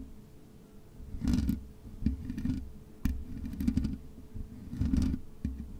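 Long nails scratch the black metal mesh grille of a USB microphone, first with one hand and then with both. The result is close, bassy rasping bursts that swell and fade, with sharp bright scrapes and clicks over a faint steady hum.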